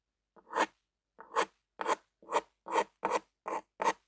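A lime-green plastic ballpoint pen with a black rubber grip and a metal tip is held in one hand and dragged and scribbled across a flat white paper-like sheet on a table, with the other hand resting nearby. The metal tip makes a series of short, rasping scratch strokes, each swelling quickly and cutting off into silence. The scratches carry a midrange tone near 900 Hz with a bright hiss on top, in an uneven rhythm.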